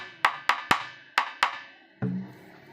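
Someone taps the wooden shell of a mango wood dhol drum to judge its quality. Five sharp, bright wooden taps ring briefly around 1.1 kHz, followed by a single deeper, duller thump.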